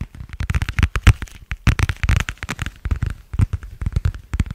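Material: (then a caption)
Vinyl plastic. Fingertips and nails tap and crinkle a thin, flexible, pale blue translucent vinyl plastic cover with a stitched edge. A rapid, uneven run of short, dry taps and crackly crinkles follows, each dying away almost instantly, with most of the energy in a soft low thump under a faint brighter rustle.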